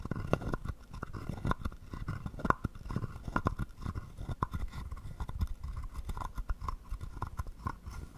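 A wooden stick is rubbed back and forth across the ridges of a palm-sized, hollow carved wooden frog guiro. It makes a steady run of quick, dry, ratcheting scrapes and clicks with a woody, hollow tone around 1 kHz. Each click stops almost instantly.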